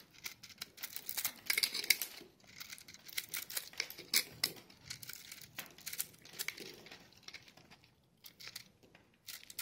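A hand-held block of dry, crumbly, multicolored soap in pastel pink, green, yellow and white is scraped and cut with a metal knife blade while long painted nails and fingertips press it, crushing it into flakes. Bright, dry crackling and crunching bursts come at an irregular, rapid pace with almost no low end, each snap dying away instantly. The soap crumbles apart and the falling crumbs collect in the palm.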